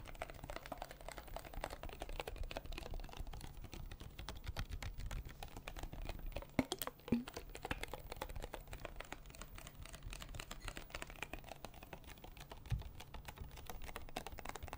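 A small, hollow, clear plastic water bottle with a blue cap is tapped with fingertips and nails across its ridged sides. The result is a quiet, steady stream of rapid, light clicking taps with a dull low body, broken by a few louder knocks around the middle and near the end.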